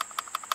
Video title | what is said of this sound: Ford Crown Victoria Steering Wheel & Airbag Removal DIY | everything else that I'm hitting that's plastic but right there that's where the spring is